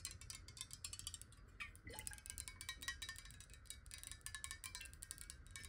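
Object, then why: Glass water bottle, partly filled with water. A clear square glass water bottle, hollow and partly filled with water, is held and tilted while long nails tap on it rapidly. The quick, bright, clicky taps ring only briefly around 1.9 kHz, over a steady low rumble.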